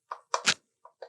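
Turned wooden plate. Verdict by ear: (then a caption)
Thin. Light taps on the thin, delicate rim of a wooden plate being turned on a lathe give short, bright, hollow knocks centered near 1 kHz. Each tap dies away almost at once. The plate sounds thin because its wall is thin and delicate at this stage of turning.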